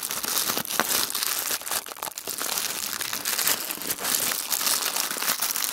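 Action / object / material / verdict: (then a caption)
scrape / thin tissue paper sheet / paper / none. A thin sheet of tissue paper is squeezed and crumpled into a small ball between the fingertips of both hands. It makes a steady, dense, bright crinkling and crackling with no low end, swelling and easing slightly as the paper folds tighter.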